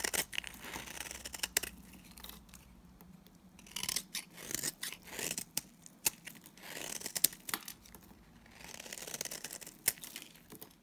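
A solid, mauve-brown oval Timotei bar of dry soap, held in the hand, is shaved with a box cutter blade. Quiet, bright, crisp scraping and cutting strokes come in uneven bursts, with sharper clicks and crunches as the blade bites.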